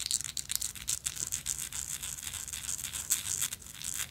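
Long acrylic nails scratch and tap a small, hollow vintage gold-tone metal lighter with a woven texture, held in the hand. The result is a steady run of bright, crisp, scratchy clicks and quick taps with almost no low end. Each tap dies away fast and dry.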